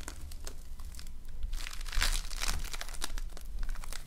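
A fist-sized lump of multicolored foam beads held together by slime (floam) is pressed, pinched and squeezed between the fingers of both hands. This produces an uneven stream of bright, crackly crinkling and crunching pops over a low rumble. The busiest, loudest bursts come around the two-second mark.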